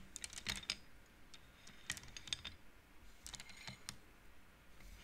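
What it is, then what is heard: Wooden bead abacus clicking. Fingers and long nails push small solid painted wooden beads along the metal rods of a wooden abacus. The beads collide in a quick, irregular run of short, bright clicks with almost no ring, grouped in bursts with brief pauses between them.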